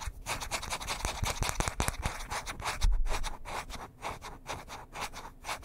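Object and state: Wooden hairbrush.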